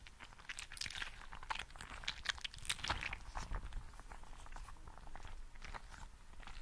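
A green, translucent, gel bead-filled squishy frog toy is squeezed and rubbed with both hands close to the microphone. It makes a quiet, steady stream of dense, crunchy crackles and squelches, with bright clicks that bunch up in quick bursts over a low rumble.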